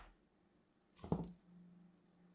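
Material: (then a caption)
Soap. A solid pink and white striped bar soap, held in hand, is scored and carved with a craft knife, crumbling off pieces. A short, soft scratch and crunch rises around one second with a low body and a brief bright hiss. It fades into a faint low hum.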